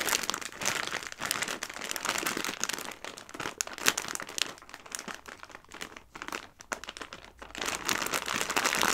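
A full clear plastic bag of dry tricolore pasta is rubbed, scratched and squeezed by fingertips with long nails, close up. Dense, bright crinkling and crisp rustling of the plastic film, with the dry pasta shifting inside, runs without pause. It is loudest at the start and end and quieter in the middle.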